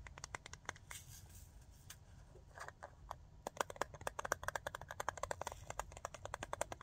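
Fingernails tap on a small glass jar full of glitter and on its metal lid. The result is a rapid series of short, sharp clicks that grow louder and denser in the second half, over a steady low background hiss.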